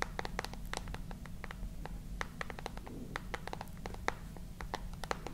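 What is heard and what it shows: Long nails tap and scratch the glass screen and dark metal edges of a handheld smartphone held close to the microphone. The sound is a quick, uneven run of sharp, bright clicks with soft scratching between them, over a steady low hum.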